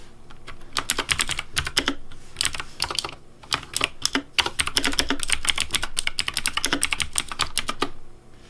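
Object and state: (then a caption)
Plastic mechanical keyboard. Fingertips type on a pink Razer DeathAdder V3 Pink plastic mechanical keyboard with hollow plastic keycaps. A fast, steady run of short, bright, clacky keystrokes rattles on with a low hollow thud under each press. The typing briefly slows around the three-second mark before picking back up and stopping near the end.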